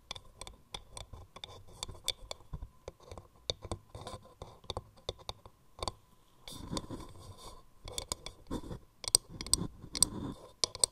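Long nails tap and scratch the outer wall of a hollow wooden mortar with grooved rings. A quick run of sharp, bright clicking taps gives way at about the midpoint to denser, rasping scratches mixed with more taps, over a faint steady tone near 1 kHz.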